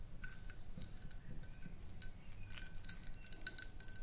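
Long nails tap around the sides of a small, round, clear, empty glass jar. Light, bright glassy clinks ring briefly in an irregular stream over a steady low rumble.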